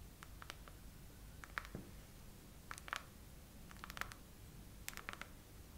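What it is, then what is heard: Silicone phone case tapped with fingernails. Long acrylic nails slowly tap and scratch a phone in a clear silicone case with raised heart bubbles, mounted on a tripod. Short, dry clicks centred around 1.3 kHz with bright high edges come at a slow, uneven pace. They sit over a quiet, steady low rumble.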